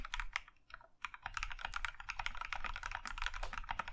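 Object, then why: Mechanical keyboard with plastic keycaps. Both hands type with their fingertips on a compact Plum Iron 165 mechanical keyboard with a maroon metal case and cream plastic keycaps. A few sparse keystrokes come first, then a quiet pause, then fast continuous typing of short, dry clacks with a bright click on top and a low thock underneath.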